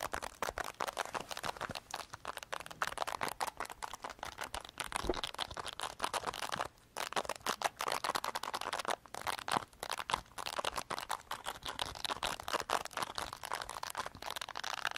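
A handheld black plastic remote control with a full mini keyboard of small keys is held in both hands over a towel while thumbs and fingers press, click and tap the keys. The result is a fast, dense stream of short, dry plastic clicks and taps, mostly midrange with a bright edge and almost no low end, pausing briefly near the middle.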